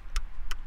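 A ring taps three times on a replica artillery cannon tube on Benner's Hill, giving short, dull clicks with almost no ring. The flat sound shows the tube is a fake, not a real cannon.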